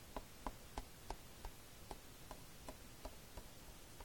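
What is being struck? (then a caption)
Plastic DVD case. Fingertips tap near the edge of the cover of a plastic DVD case lying flat on a blanket. A quiet, steady series of short, dry clicks comes at roughly three per second, each with a soft low thud and a hollow midrange knock that dies away at once.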